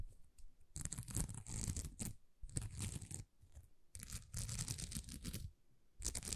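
Long nails scratch across a thin, flexible sheet of small plastic rhinestone stickers in several bursts separated by short quiet gaps. The bursts are dense, crackling scratches with bright, crisp highs over a soft low rumble.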